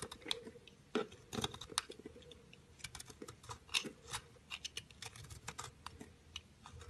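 A round, solid orange-pink speckled soap bar held in the hand is cut and scraped with a utility knife blade, and the shavings fall onto a ledge. A rapid series of short, crisp, bright scraping and crunching strokes is heard, each dying away almost instantly, over a quiet background.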